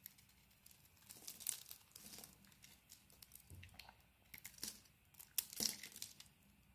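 A hand-sized, solid rectangular bar of soap with a brown outer layer and white core is held in the hand and scraped with a metal utility blade, peeling off curls. Quiet, bright, crinkly scraping and crunching comes in short bursts with almost no low end. Each stroke ends quickly without ringing.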